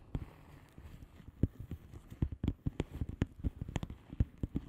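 A flat blue plastic bubble wrap padded envelope with air-filled bubbles is tapped and scratched with the long fingernails of both hands. Quick, dull, low taps come in an irregular patter over a faint scratchy hiss, each one dying away at once.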